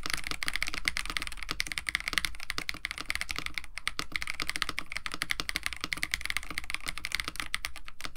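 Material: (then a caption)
Plastic. A compact 65% KBD67 Lite mechanical keyboard, with a white case, blue and white PBT plastic keycaps, an FR4 plate and lubed Techno Violets switches, is typed on continuously with the fingertips of both hands. A rapid, steady stream of short, crisp clicks and clacks is heard, bright around 2 kHz over a soft low thump, with each keystroke dying away almost instantly.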